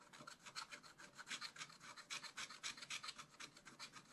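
A wooden stylus scratches across the leaf area of black coated scratch-art paper. It makes a steady run of quick, dry rasping strokes, about three or four per second, with a bright, hissy texture and almost no low end.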